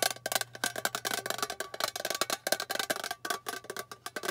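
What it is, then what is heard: Metal tin box. Long painted fingernails rapidly tap the flat face of a small, hollow, rectangular metal tin with a lid, held upright in both hands. The result is a quick, uneven run of short, bright, clicky taps with a hollow tinny tone around 640 Hz and almost no ring after each strike, over a faint low hum.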